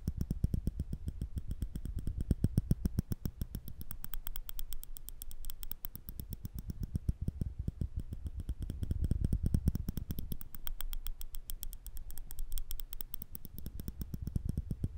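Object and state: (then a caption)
Metal tweezers clicking. Slender steel tweezers, held horizontally in the fingertips over a microphone, are pinched together and released over and over. The result is a rapid, steady stream of short, dry clicks with a heavy low thump and a faint bright tick. The clicking rises and falls slightly in loudness throughout.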